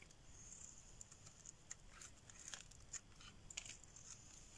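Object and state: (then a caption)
Dry bar soap being shaved. A metal blade shaves a solid, dry green bar of soap held in the hand, peeling off curls. Quiet, dry, crinkly scraping strokes repeat with short, sharp ticks, over a steady bright, high hiss and a faint low rumble.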